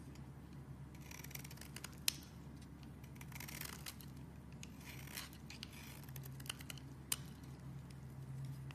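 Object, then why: Bar of soap. A metal blade repeatedly scrapes shavings from the edge of a solid purple bar of soap held in the hand. The result is a quiet series of dry, bright scratching strokes with a few sharp clicks, over a steady low hum.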